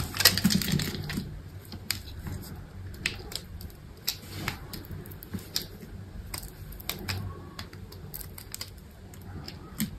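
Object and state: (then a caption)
Dry soap bar being cut. A small knife cuts cubes off the end of a solid, dry white soap bar held in the hand and scored into a grid. The result is a quick, uneven run of crisp, bright clicks and snaps, each dying away almost instantly. Soft, low handling rumble sits underneath, loudest at the start.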